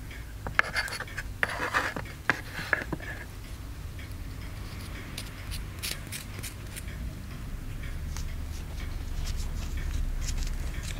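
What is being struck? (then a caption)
Plaster block scraped with a wooden stick. A wooden stick scrapes and picks at the surface of a partly carved, solid white plaster excavation block held in the fingers. Sharp, bright scratchy picks come in quick bursts during the first few seconds, then give way to softer, intermittent scraping. A steady low hum runs underneath throughout.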